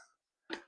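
A more solid piece of split oak firewood is knocked once, giving a short, solid knock with a tone around 380 Hz that dies away quickly. The wood sounds solid, and it reads 28.5% moisture, about as expected but still above the 20% wanted before burning.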